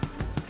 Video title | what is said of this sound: American Carpenter Reacts "The Boat That Guy Built - Ep. 4 - Beans On Toast - Guy Martin" | when you bang it on the bottom, if it sounds hollow